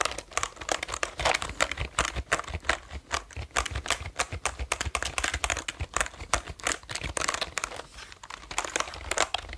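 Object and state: Plastic computer keyboard.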